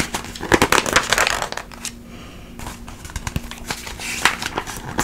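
An open glossy paper magazine held in front of the body has its pages fanned and flipped by hand with long nails. Crisp, bright rustles and crinkles come in irregular bursts, with a quieter lull in the middle before the page turning picks up again.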